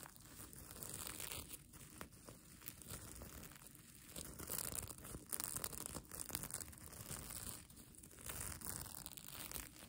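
Long nails scratch and crumple the plastic sequin fabric of a mermaid tail blanket, giving a steady, quiet crinkling and rustling. The sound is made of dense bright clicks over a low rumbling texture, swelling and easing in soft waves.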